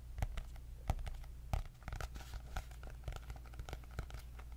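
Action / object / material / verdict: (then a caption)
tap / cardboard-covered paper notebook / cardboard / none. Long nails scratch and tap across the cardboard cover of a white hardcover paper notebook with gold dots. The result is an irregular stream of sharp, bright clicks and dry scraping over a steady low hum.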